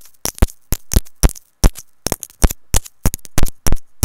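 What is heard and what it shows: A small white plastic inline remote and mic on a looped earphone cable, with a hollow housing, is tapped and scratched with long nails and fingertips. A quick, uneven run of sharp, close-up clicks and taps has a heavy low thump beneath each one and fades quickly. Short scratchy rustles fill the gaps between taps.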